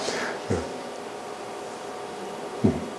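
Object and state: Nothing is struck.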